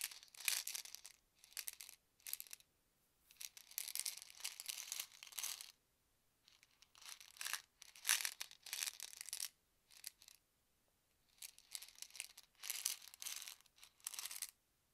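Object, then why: Plastic pill bottle with tablets. A hollow white plastic medicine bottle with a yellow cap, holding ibuprofen tablets, is held in both hands and tapped and shaken with the fingertips. It makes quiet bursts of bright, crisp rattling and clicking, separated by short silences, with almost no low end.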